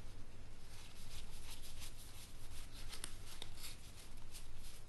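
A small stack of thin, laminated cardstock game cards is held in both hands while fingertips with dark-painted nails fan and shuffle them against each other above a game box that sits still below. The cards make a soft, continuous rubbing and shuffling hiss over a steady low hum, with two brief sharp clicks near the end.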